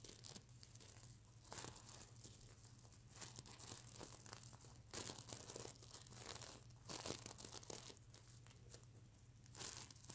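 Fingernails scratch and flick individual plastic sequins near the eye of a sequin-covered plush pillow. Dense, bright, crinkly scraping and clicking runs throughout, with sharper bursts and a steady low hum underneath.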